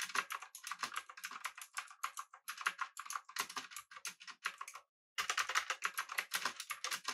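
Both hands type on a pink-backlit, typewriter-style mechanical keyboard with an aluminum body, round plastic keycaps and clicky blue-switch keys, resting on a desk. Rapid, bright, sharp clicks come in quick bursts with no low rumble. The typing stops for a moment before resuming at an even pace.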